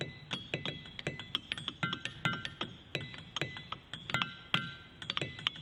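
A diabase boulder at Ringing Rocks park in Bucks County is struck repeatedly with a hammer in a quick series of sharp, metallic-sounding taps. Each strike rings with clear, bell-like tones around 1.4 kHz and brighter partials above, decaying quickly. This rock gives two different tones.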